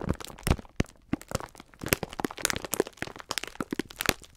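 Fingers pinch, rub and crinkle the clear plastic film wrapper of a full pack of sponge scourers. The result is a rapid, irregular run of sharp, dry crackles and crunches with bright edges and almost no ring, separated by brief quiet gaps.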